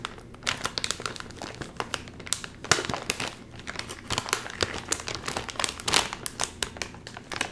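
The fingertips of both hands crinkle and tug at the top edge of a full, sealed, red and white metallized plastic chip bag. It makes a continuous run of bright, crisp crinkling with sharp crackling bursts that rise and fall in loudness, with little low end.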